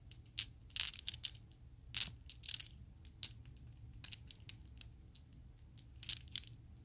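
A set of small, solid Chessex acrylic plastic polyhedral dice is squeezed and shuffled by fingers with long nails, then shaken in the palm. Sharp, bright clicks and clacks come in scattered bursts, each dying away almost instantly, over a faint low hum.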